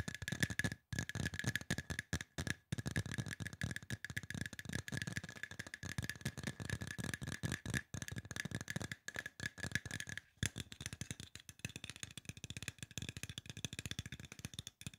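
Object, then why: Aluminum spray bottle. Fingertips and nails tap rapidly on a hollow, silver aluminum spray bottle, making a dense stream of short, dry clicks and low thumps with a bright metallic edge. A faint steady ringing tone sits under the tapping for the first ten seconds, then fades while the quick tapping continues to the end.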